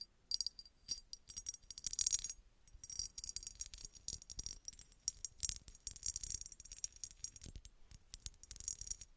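Long red nails rapidly tap a small, hollow, red embossed glass bottle with a textured surface that appears empty. The result is bursts of quick, bright, dry clicks and ticks with almost no ring, mostly high and crisp with little low end.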